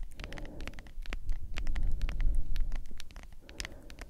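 Long acrylic nails tap and scratch a medium cylindrical plastic tub of G Fuel energy powder with a white lid and printed label, probably partly full. Quick, bright, crisp clicks and scratches sit over a steady deep low rumble, swelling louder in the middle before easing off.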